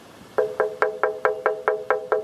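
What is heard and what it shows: An old cast iron railway bridge pylon is tapped nine times in an even rhythm. Each tap gives a bright, short metallic ring pitched around 430 Hz that fades within a fraction of a second. The ringing tap is taken as the unmistakable sound of cast iron.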